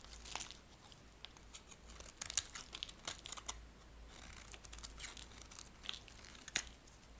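A dry, magenta-pink solid soap bar held in a dusty palm is scraped with a metal blade, giving quiet, bright, crumbly scraping and crinkling textures. Short sharp ticks and flakes crackle over a faint steady low hum. Each scrape stops dead with no ring.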